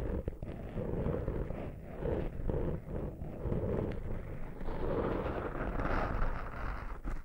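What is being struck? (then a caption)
Foam microphone windscreen. The fingertips and short nails of a right hand scratch and rub the top and side of a small black foam windscreen over a microphone. The result is a steady, muffled, boomy rustling and scraping, heavy in low rumble with little high-end content, swelling and easing in soft waves.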